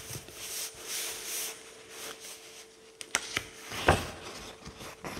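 Fingertips rub the paper pages of an open paperback book lying on a table, making soft, bright, breathy swishes over a faint steady tone. A few sharp papery ticks follow as a single page is lifted, then it flips over with a louder crisp rustle before the rubbing resumes quietly.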